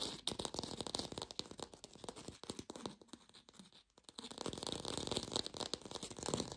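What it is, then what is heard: Fake plastic lemon. An artificial lemon, probably plastic or foam, is rapidly tapped and scratched with long nails, making a dense, bright clatter of quick, dry clicks and scraping. The tapping eases off briefly in the middle, then picks back up to a steady, busy patter.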